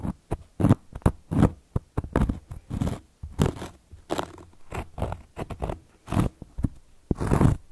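Long gold metal claw nails scratch across a round, flat, solid cork coaster board. The result is a steady run of short, dry scratching and rasping strokes with brief pauses between them. Each stroke has a soft, low-heavy body and stops quickly with almost no ring.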